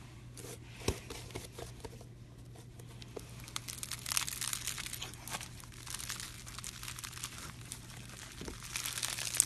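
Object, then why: Slime packed with small styrofoam beads. A palm-sized lump of pink floam, slime packed with small styrofoam beads, is held in one hand by a window and squeezed, folded and pressed with the fingers. It makes a dense, bright, crunchy crinkling and crackling with a few sharper pops, over a steady low hum.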